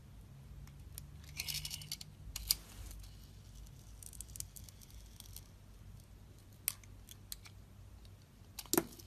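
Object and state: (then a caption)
Soap bar being shaved with a blade. A utility-knife blade slices thin curls off a solid blue sparkly Nivea soap bar. Soft, bright scraping and shaving rasps come in bursts, with a few sharp crisp clicks and snaps, over a faint low hum.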